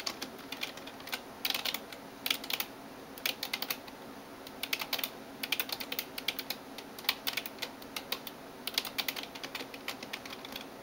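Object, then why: Plastic computer keyboard keys. Fingertips and nails type on the keys of a backlit plastic gaming keyboard. Quick, bright, clicky taps come in irregular bursts over a faint steady background hiss. Each tap dies away almost instantly.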